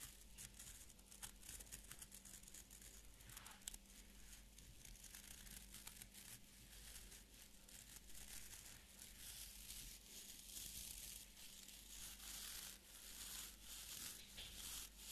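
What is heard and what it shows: A small beard brush with an orange wooden back and stiff fibre bristles is held in both hands while fingertips and nails scratch and flick the bristles. The result is a quiet, continuous, bright, dry crackling and rasping, broken by irregular sharp flicks, over a faint steady low hum.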